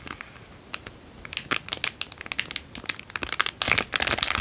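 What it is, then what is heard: Crumpled clear cellophane bag. A small, empty, heavily creased clear cellophane-like plastic bag is held in both hands and crinkled with the fingertips. After a quiet start, sharp, bright crackles come in an irregular rapid run, each snapping off almost instantly. They grow denser and louder toward the end, with almost no low end.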